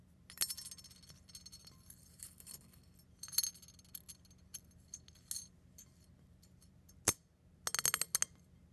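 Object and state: Crushed eggshell pieces.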